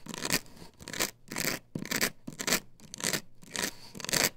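Long nails scratch across the face of a plastic stencil template glued to a wooden board, which is lifted and held upright. About nine rough, bright scratching strokes come in uneven bursts, each a hissy rasp with a faint hum underneath.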